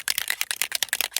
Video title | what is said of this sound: Oxide decorated, over the page, hidden journaling #abcapril2025 letter O | Twirl it until you hear the ball moving